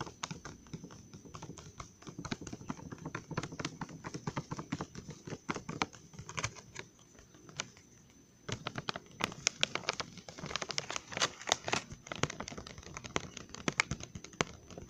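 A full, glossy plastic Trolli gummy worm candy bag is turned from back to front, then held in both hands while fingertips and nails tap on the plastic. The quick, dry, crinkly taps come in dense runs with a faint steady high tone underneath. A quieter stretch around 7 to 8.5 seconds gives way to louder, sharper tapping.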